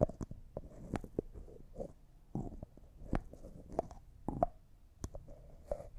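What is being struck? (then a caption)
Small glass jar with plastic screw lid. Fingernails tap a small, hollow, apparently empty clear jar that looks like glass and its white plastic lid, and the lid is twisted. Many quick, sharp clicks carry a faint ringing tone near 620 Hz and die away almost at once. Soft scraping and rubbing from the turning lid sit between the taps.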